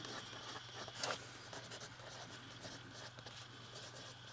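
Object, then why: Metal-nibbed fountain pen on a paper notebook page. A metal fountain pen writes on a page of an open lined paper notebook, its nib scratching steadily and brightly across the paper. The quiet scratching carries on throughout, with a brief louder stroke near the start, over a faint low hum.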